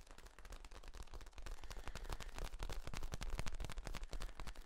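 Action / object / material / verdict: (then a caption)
scrape / ribbed flexible plastic tube / plastic / none. A long, hollow, ribbed yellow corrugated plastic tube is held across the chest while hands squeeze and rub its ribs. This makes a dense, rapid, irregular run of dry clicks and crackles over a heavy low rumble, growing slightly louder as it goes on.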